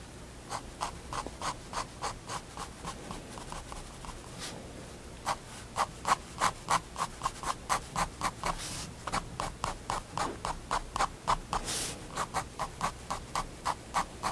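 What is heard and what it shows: A pigment liner pen makes quick fur-hatching strokes on a page of a spiral-bound white paper sketchbook resting on a wooden desk. About thirty short, dry scratches come in a steady rapid rhythm with a brief pause near the middle. Each has a bright papery hiss centered around 1 kHz.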